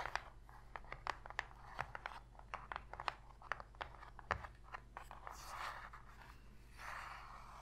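Long pink fingernails tap and scratch on the bottom and side walls of an empty, shallow white cardboard box lid. A rapid, uneven run of sharp, dry clicks mixes with short raspy scrapes, then two longer bright scratching swells near the end, all over a steady low hum.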